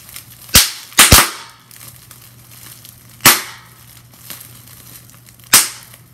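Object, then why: Plastic bubble wrap. Fingers with long nails twist and squeeze a handful of clear plastic bubble wrap, popping its air-filled bubbles. Five sharp, bright pops that fade quickly ring out over quiet crinkling, with a quick pair near the start and the rest spaced a few seconds apart.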